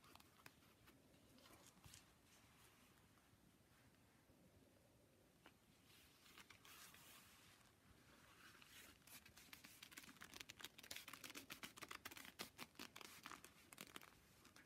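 A pair of thin, vintage red perforated (ajour) leather driving gloves worn on both hands, with the gloved fingers and palms rubbing and squeezing against each other. Quiet, soft leather-on-leather rubbing builds into denser, louder bursts of bright creaks and squeaks in the second half.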